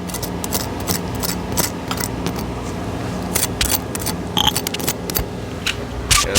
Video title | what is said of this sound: Homemade Buffalo wings!!!(definitely a must) | if y'all can hear how crispy this is